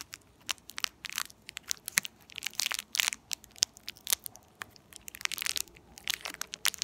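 A small, empty, purple, shiny foil-plastic candy or gum wrapper is held at both ends and crinkled and squeezed between fingertips with long purple-painted nails. It gives a dense stream of sharp, bright crackles and crunches with almost no low end. Each snap dies away instantly.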